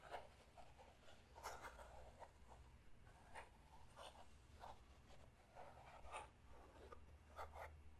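A small clear plastic puzzle cube with stickers, held in both hands, is tapped, scratched and twisted by fingertips and nails. Quiet, irregular clicks and scratchy rubs with a bright plastic edge come over a steady low hum.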